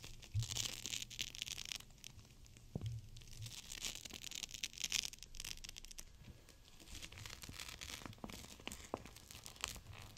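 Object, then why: Gel bead pack in a plastic pouch. A gel bead cold/hot pack in a clear plastic pouch is folded and squeezed by fingers with long nails. This makes a continuous bright crinkling and crackling of plastic with dense, rapid clicks, and a low hum underneath in places.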